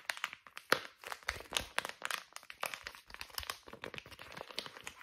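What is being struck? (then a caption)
Soft plastic pouch of wipes. A small, soft white plastic pouch of facial wipes with green print is crinkled, scratched and tapped with fingernails. It makes a dense run of sharp, brittle crackles and quick taps, mostly bright with almost no low end. Each sound stops almost instantly.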